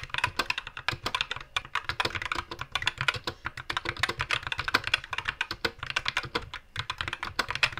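Both hands type with their fingertips on a compact white 60% SK61 mechanical keyboard with Gateron black switches, plastic keycaps and a blue-green backlight, resting on a wooden desk. The result is a steady run of rapid, short, bright clicking key-press taps with a faint low thump beneath them.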